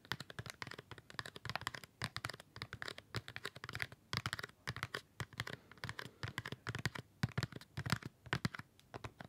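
A flat dark cardboard gift tray holding six small wrapped chocolate bars is held close to the mic and tapped and scratched across the bar wrappers with fingertips and nails. The result is a quick, uneven stream of short, dry, clicky taps with a low thump, mixed with faint crinkly scratching, and each tap dies away almost instantly.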